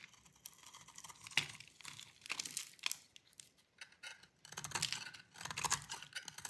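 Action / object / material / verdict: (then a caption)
scrape / bar of soap cut with a metal blade / soap / none. A hand-sized solid bar of dry green soap, held in one hand, is shaved with a metal utility blade, and the crunchy curls fall onto a plastic tablecloth. The audio is a run of quiet, bright, dry scraping crunches and crackly tearing bursts with almost no low end, separated by brief pauses.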